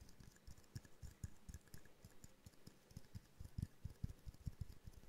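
A small hollow glass jar snow globe ornament with a twine bow is held in both hands and tapped rapidly with long painted nails. The taps come as a quick, uneven run of soft, dull knocks centered low around 90 Hz, with faint bright clicking on top. Each tap dies almost instantly.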